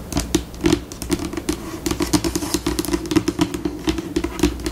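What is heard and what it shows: Long pink acrylic nails tap and scratch across a flat, solid white laminate tabletop in a dense, uneven flurry of quick clicks. Each tap is short and dry with almost no ring, sitting on a low hollow knock around 340 Hz, with brighter scratchy edges between the hits.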